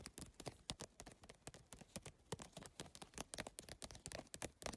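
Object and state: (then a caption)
Rigid PVC-tile handbag. Fingertips with long nails tap quickly and scratch across the rigid plastic tiles of a holographic geometric PVC-tile handbag. They make a fast, uneven stream of sharp, bright clicks with very short ring, and softer scraping between the taps.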